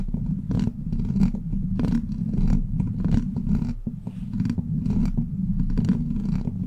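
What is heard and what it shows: Long black plastic claw nails on both hands scratch and tap the hollow steel mesh grille of a silver microphone. A steady low, rumbling scratch runs throughout, broken by many quick tapping bursts with brief bright edges.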